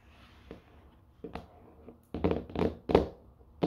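Long, dark-painted nails tap and scratch the top of a small, grey, rigid cardboard Ridge wallet box, still closed and sealed in thin plastic film, first lying on a wooden floor and then held up. About eight short, dry taps come in an uneven rhythm, with soft scratching and faint crinkling of the wrap between them, growing louder toward the end.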